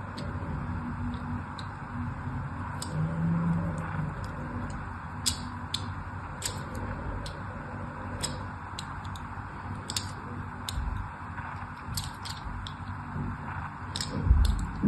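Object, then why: Bar of glycerine soap. The tip of a thin blade scratches and scores a crosshatch pattern into the surface of a solid, palm-sized rectangular bar of orange-and-white striped soap held in one hand. Sharp, bright ticking scrapes and clicks sound irregularly over a steady low rumble. The blade leaves a crosshatch pattern scored into the bar.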